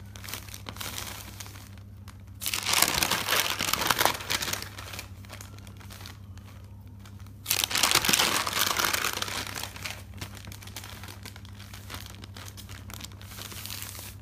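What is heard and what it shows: Hands turn the pages of a thick bound paper notebook on a table and rub across the page edges, giving a dry, bright paper rustle and crinkle. Two louder bursts of rapid page flipping stand out against softer rubbing, over a steady low hum.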